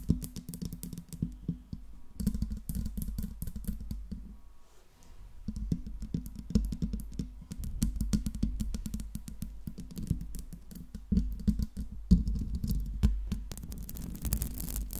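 Long nails tap and scratch the metal mesh grille of a silver Blue Yeti microphone, working from the base up to the top. The result is a dense, fast run of dry clicks and rasping scrapes, heavy in the low end with a steady low tone beneath. There is a short lull a third of the way through, then the tapping returns, with sharper taps near the end.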